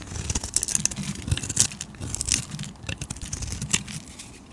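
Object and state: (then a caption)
Bar of soap being scraped. A flat metal blade scrapes and carves the surface of a hand-sized, solid purple and red bar of soap held in one hand, peeling off curls and flakes. Bright, dry crackling scrapes come in a rapid run of short crunchy strokes, with a soft low rumble underneath.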